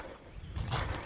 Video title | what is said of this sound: Starting up the Ram Pump 2019 | I could hear that it was not hollow so water is at least to this point